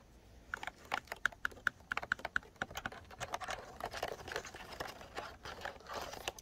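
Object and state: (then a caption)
Plastic keyboard with round keycaps. Fingertips tap and type throughout on a pink plastic computer keyboard with round white typewriter-style keycaps, lying on a bed. Quick, crisp plastic clicks come first as evenly spaced taps, each with a faint ringing ping near 1.5 kHz. They then blur into denser, softer typing patter, and every tap dies away almost instantly.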